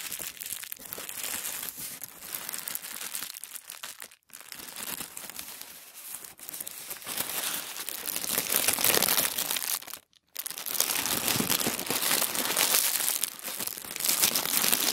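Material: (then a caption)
Paper. A thin white sheet of tissue paper on a wooden table is pinched, rubbed and rolled between fingertips. It makes a dense, bright crinkling rustle, mostly in the high range with almost no low end. The rustle pauses briefly twice and grows louder in the second half.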